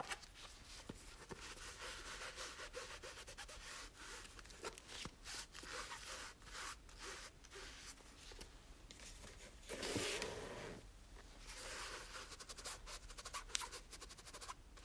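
A small, solid red cloth-covered hardcover book is held in one hand while its cover is rubbed with a microfiber cloth. The result is a quiet, steady, bright swishing and scratching rub, with one fuller, louder stroke near the middle.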